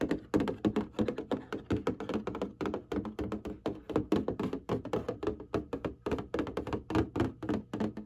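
Fingertips and long nails tap and scratch across the surface of a printed cardboard box of hanging folders. A rapid, steady stream of dull, hollow thunks with a mid-low body lands throughout. Each tap dies almost instantly, with faint scratchy traces between the hits.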